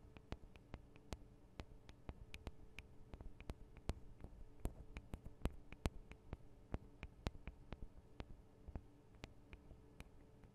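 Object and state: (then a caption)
Nails tapping on recorder microphone capsules. Long acrylic nails tap rapidly on the two small hollow microphone capsules of a Tascam DR-40 recorder, whose housings are metal and plastic. About three dozen quiet, sharp clicks land at an uneven pace, each dying out almost instantly, with bright tips over a steady low hum.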